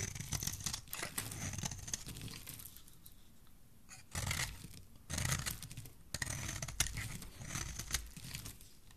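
A solid bar of soap with red-pink and white layers is held in the hand and shaved with a metal utility blade. Crisp, bright scraping and crinkling strokes come in repeated bursts over a low, soft rumble, easing into a quieter stretch before louder shaving passes return.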